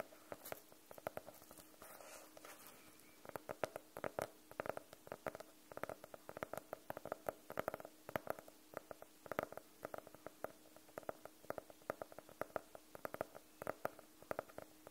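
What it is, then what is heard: Faux-leather hardcover notebook. A closed, solid navy faux-leather hardcover notebook, held at an angle, is tapped fast and scratched across its cover with fingernails. Quick, dry clicks with a mid-pitched knock around 620 Hz stop almost instantly, over a soft continuous scratching hiss. The tapping stays quiet and steady for the whole clip.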